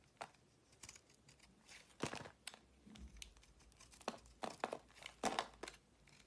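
A solid oval purple marbled soap bar, held in a palm with red-painted nails, is chipped and shaved with a utility-knife blade into crumbly flakes. Quiet, dry scraping and crisp crackling cuts come in short, irregular bursts with a bright, brittle edge, leaving only faint hiss between strokes.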